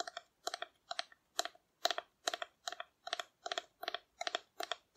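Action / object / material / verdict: tap / painted cardboard dinosaur figure / cardboard / none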